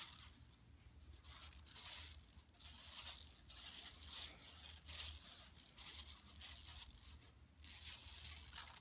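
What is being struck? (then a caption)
Woven plastic mesh bag. Long nails scratch and rub across an empty, large, flat yellow woven plastic mesh tote shopping bag lying on carpet. The result is a quiet, dense, bright rasping and scratching that swells and fades in repeated strokes, with a faint low hum underneath.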